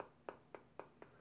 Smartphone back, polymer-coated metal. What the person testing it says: this feels very hollow